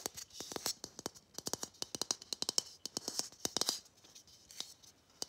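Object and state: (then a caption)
Plastic Christmas bauble. A palm-sized, matte gold, hollow plastic Christmas bauble with a visible molding seam is tapped and scratched with long fingernails. The result is a quick, irregular run of crisp, bright clicks with almost no ring, mixed with soft, hissy scratching between taps.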